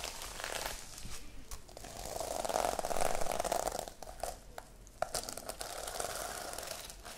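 A small sequin-covered notebook is held close to the microphone while long light-blue nails scratch and tap across its plastic sequins. The result is a steady, crinkly rustle with a mid-range body, swelling in the middle and punctuated by a few sharp clicking taps.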